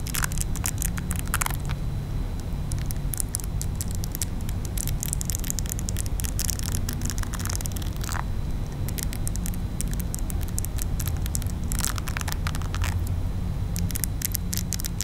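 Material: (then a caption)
Silicone. Long nails scratch across the textured silicone bristle face of a pink silicone facial cleansing brush. Bursts of bright, crackly scraping come and go over a steady low rumble that runs through the whole clip at an even level.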